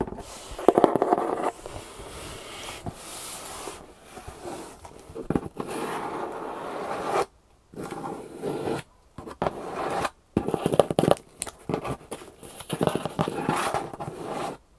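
Long painted nails scratch and tap the flaps and top surface of a large, hollow, corrugated cardboard shipping box. Dry, papery scraping alternates with bursts of fast, crackly tapping, centered in the midrange with brief silent gaps between passages.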